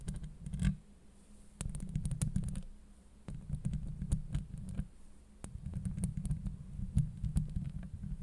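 Long acrylic nails scratch a hollow steel mesh microphone grille, making dense, muffled low rumbling and scraping with sharp clicks scattered through it. The scratching comes in bursts separated by short quieter gaps, with almost all the energy deep in the low range.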